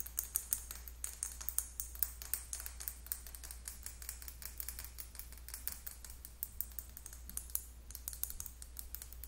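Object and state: Plastic lip gloss tube.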